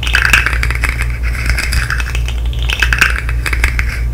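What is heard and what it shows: A colorful segmented plastic fidget slug with hollow articulated segments is tapped, clicked and flexed with long nails and fingertips close to the mic. The result is a dense run of quick, bright plastic clicks and rattles that peak in two busier bursts, over a steady low hum.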